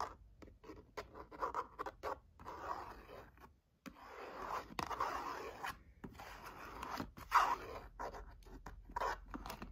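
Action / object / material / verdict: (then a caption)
scrape / cardboard box / cardboard / none. Long nails scratch and tap the face and edges of a tall, narrow, hollow orange-and-red printed cardboard box standing upright in a gift crate. The result is dry, papery scraping and quick, light taps centered in the midrange, broken by short pauses and one sharper tap near the end.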